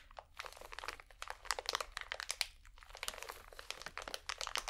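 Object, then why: Cotton swab pack in plastic wrap. A small, full pack of cotton swabs in plastic wrap is crinkled and scratched with painted nails. Quick, dense crackles and scratchy ticks come one after another, bright and crisp with almost no low end. Each sound stops almost at once, at a soft, close level throughout.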